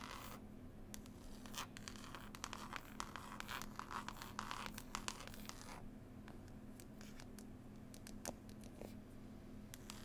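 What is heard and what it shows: Long nails scratch and tap on a closed, solid hardback book with a textured green cloth cover and a picture label. Quiet, dense scratching is broken by many sharp, bright ticks and taps over a steady low hum.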